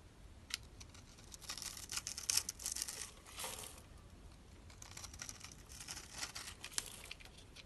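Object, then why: Dry bar of soap scraped with a blade. A metal utility knife blade scrapes across a dry, solid bar of soap with purple and pink stripes, held in the hand and scored in a grid, crumbling off small soap cubes. The sound is a quiet, bright, crackly crunching and scraping, made of dense bursts with a few sharper snaps and almost no low end.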